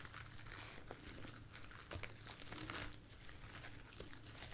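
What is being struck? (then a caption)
Artificial foam roses. A light, soft bunch of white artificial foam roses held in one hand is scratched and tapped with long nails. Quiet, crisp crinkling and scratching taps run on irregularly over a steady low hum, with bright rustling peaks throughout.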